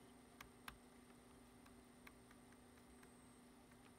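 Fingertips type on a black plastic computer keyboard, shown in close-up. Soft, short, clicky key taps fall at an irregular pace over a quiet background with a steady low hum and a faint high whine, and a few taps stand out louder than the rest.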